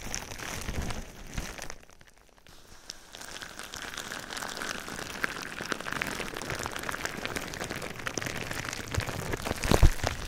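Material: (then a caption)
Plastic. Silver foil-faced metallized plastic bubble wrap, wrapped around a binaural microphone, is tapped, scratched and rubbed with fingertips and nails. Dense, rain-like crackles and taps run throughout, with a brief quieter dip near two seconds and a louder burst of crinkling near the end.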